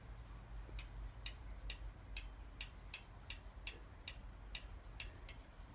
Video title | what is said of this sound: Valve Clearances (Yamaha XVS 1100) | you can hear it moving freely / and tapping / as it should do